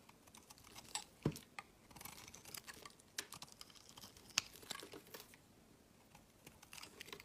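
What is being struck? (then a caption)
Soap bar shaved with a knife blade. A rectangular, solid cream-white soap bar with an embossed logo is held in the hand and shaved and carved with a utility knife blade. Quiet, dry, bright scraping and crisp ticking shavings come in irregular bursts, with a couple of sharper clicks standing out.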